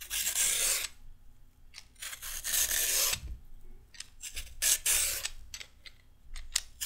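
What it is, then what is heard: Raw carrot being peeled. A small piece of raw carrot is shaved with a red-handled metal peeler, giving bright, rasping scrapes. Long strokes alternate with shorter, quicker ones, each ending abruptly with almost no ring.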